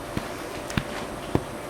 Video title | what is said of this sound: Chef Chuy Elizondo Martínez Corona Cooking Demonstration | if it sounds hollow it's ready